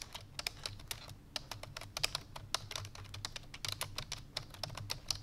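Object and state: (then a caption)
Plastic computer keyboard. Fingertips with long painted nails press the keys of a full-size black plastic computer keyboard resting on a white fur rug, typing fast. A rapid, uneven stream of short, bright, clicky taps rises over a faint steady low hum, and each tap dies away almost instantly.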